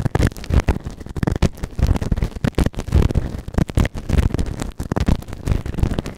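A white plastic ear tool held in the fingertips scrapes inside the ear canal of a grey, soft, solid silicone ear-shaped microphone on a round base, working the right ear. The result is a continuous run of close, muffled scratching and rubbing bursts, heavy and boomy in the low end with almost no brightness, each scrape stopping dead with no ring.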